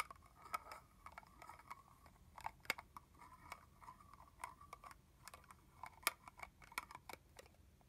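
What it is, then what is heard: Plastic mist bottle tapped with fingernails. A capped red plastic body mist bottle, partly full, is tapped with long fingernails on its body and cap. The result is quiet, irregular, dry clicks and taps with a bright ringing tone around 1.2 kHz, and each one dies away almost instantly.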